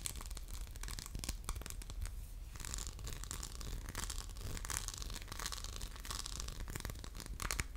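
Fingernails scratch across the textured faceted diamond-pattern surface of a hollow orange glass soap dispenser with a metal pump. The result is a dense, continuous run of bright, crackly scrapes and short ticking strokes over a steady low hum. The level stays fairly even throughout.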